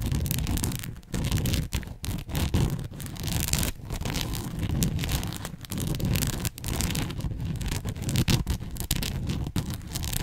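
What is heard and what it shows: Long nails scratch and rub a red and white fabric bow headband, pinching its folds. The result is a steady, dense scratching rustle with a heavy low rumble and a bright, hissy top, broken by brief quiet gaps as the nails shift.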